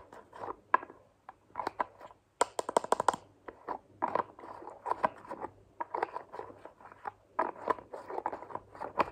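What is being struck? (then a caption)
Plastic lotion bottle with flip cap. Long nails tap a hand-sized white plastic moisturizing lotion bottle and flick and scratch its green plastic flip cap. The result is a quiet stream of dry, clicky plastic taps and scratchy ticks centered around 1 kHz with bright edges, including a fast flurry of clicks near the three-second mark. Each tap stops almost instantly, with no ring.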